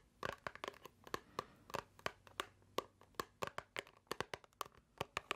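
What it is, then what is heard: Cardboard box tapped with nails. A small, hollow white paperboard box is held in the hands and squeezed, tapped and scratched with long nails. About 27 quick, dry taps and clicks sound in an uneven rhythm, with a hollow mid tone and bright crinkly edges. Each one dies away almost at once over a quiet background.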